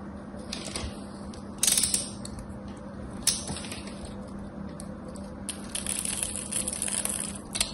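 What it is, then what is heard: Soap bar being cut and scraped. A craft knife cuts and scrapes the corner of a solid rectangular soap bar with a gold-painted embossed surface. Crisp, bright scraping and crunching bursts rise above a quiet background with a steady low hum. The louder, brighter scrapes land near 1.7, 3.3 and 6–7.7 seconds.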